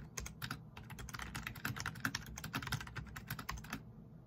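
Fingertips type rapidly on a black plastic backlit RGB membrane keyboard resting on a wooden desk. A dense, steady stream of soft, muffled key clicks carries a bright clatter on top and a low thump beneath, and each press dies away almost at once.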